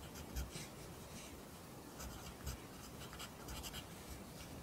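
A pencil writes in an open lined paper notebook, its graphite scratching across the page in soft, irregular strokes. The quiet, bright scratching rises in short bursts over a low background hum, with two slightly louder moments.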